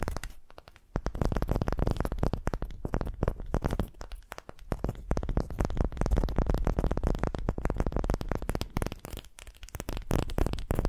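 Long pastel-painted nails scratch and tap a pale, unfinished, palm-sized wooden ball that looks solid and is held in both hands. After a quiet first second, a dense stream of close, dry crackling scrapes and quick tapping clicks follows, heavy in the low end with very short decays and a few brief dips in loudness.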